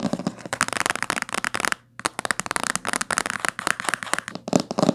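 Fingernails tap and scratch the spine and cover of a thick, solid blue-green hardcover book with a coated board cover, lying closed on a table. The result is fast, dense clicking and crackling across a broad range into the highs, with a brief pause near the two-second mark before the rapid tapping resumes.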